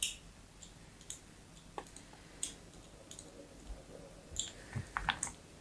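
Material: Soap.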